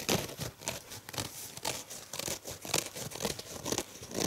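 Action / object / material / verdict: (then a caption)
scrape / foam kitchen sponge / foam / none. A purple rectangular foam kitchen sponge is held in the hand while fingertips and nails scratch and squeeze its surface. The result is a series of irregular, dry crinkling and tearing-like scratches with a bright, hissy edge and little low end, each one short with almost no ring.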